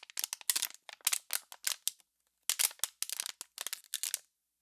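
An empty, hollow clear PET water bottle, already crumpled, is crushed and twisted by hands. It gives off bursts of sharp, bright crackles and crinkles with almost no low end. The crackles come in clusters with a brief silent pause in the middle.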